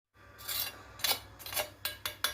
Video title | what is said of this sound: كنتاكي في البيت 🍗😋 احلي ١٠٠ مره من المطاعم جربوا التوابل دي ومش هتغيروها أبدا | سمعتوا صوت القرمشة الجامد ده